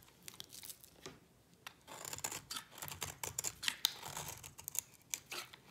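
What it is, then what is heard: Dry bar soap. A utility knife blade scrapes curls off a solid white bar of dry soap in quick, repeated strokes. Each stroke is a short, dry, bright rasp with crisp clicking edges and almost no low end, stopping dead with no ring. The quiet scrapes come in an uneven run of bursts across the whole clip.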